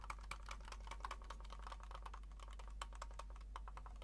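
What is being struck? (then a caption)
Plastic computer mouse. A small black plastic wireless mouse is held in the hands while the fingertips click its buttons and scroll wheel. Quick, light clicks and ticks come in a rapid, steady run, with a crisp snap centered near 1 kHz. A constant low hum sits underneath.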